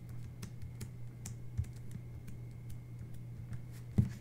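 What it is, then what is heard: Paper sticker sheet, tapped with nails. Long red-painted fingernails and fingertips tap and rub a thin, flat paper sticker-book page printed with a jungle animal scene and numbered grid, lying on a white table beside another untouched paper sheet. Quiet, scattered dull taps and soft rubbing ride over a steady low hum, with two sharper taps standing out near the middle and the end.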